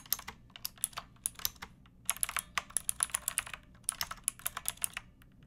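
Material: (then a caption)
Plastic. Fingertips with long nails type continuously on a pink backlit mechanical keyboard with round plastic keycaps. About thirty sharp, bright clacks come in quick, uneven runs with short pauses between bursts. Each keystroke cuts off almost instantly over a faint low background hum.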